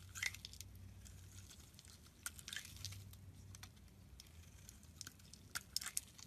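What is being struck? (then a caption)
Bar of soap shaved with a blade. A solid rectangular blue soap bar held in the palm has its edges and face shaved into curls with a metal utility knife blade. Quiet, crisp scraping and crackling bursts come and go, bright and high-pitched, with a faint low hum underneath. The sharpest cuts stand out near the start and toward the end.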